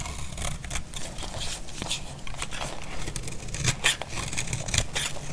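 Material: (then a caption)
Soap. A utility blade shaves the edge of a solid, dry, cream-white bar of soap, producing a steady run of short, crisp scraping and crinkling strokes with bright, papery texture over a low rumble. A few louder, sharper cuts stand out near the four- and five-second marks before the shaving continues evenly.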